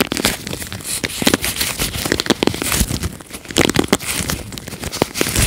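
Nitrile-gloved fingertips rub and scratch across the plastic bristles of a red plastic paddle hairbrush. The result is a dense run of dry, crackling scratches and bright crinkly rasps, each stopping almost instantly, with brief louder bursts rising above a steady bristly texture.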